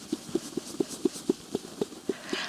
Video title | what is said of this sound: Tipsy Spinster Travel Tips: Processing Fiber While Traveling | This is an incredibly strong, incredibly sound fleece, which Shetland usually is.